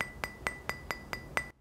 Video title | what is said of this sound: 【レビュー】レジノイド製法の魅力｜スーパー砥石_研承 継 成 暁_ALTSTONE 層一層｜世間の包丁の価値観。 | どのビトリファイドも共通でかなり高い金属音がします